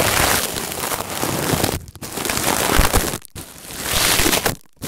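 Fingertips squeeze and crinkle a palm-sized, springy, coiled stainless-steel wire scouring pad resting on bubble wrap, with an earphone mic taped underneath. A dense, bright, scratchy crinkling runs almost continuously, dropping to near silence for brief moments, once when the pad is briefly lifted. It ends in a short gap and a final rustle.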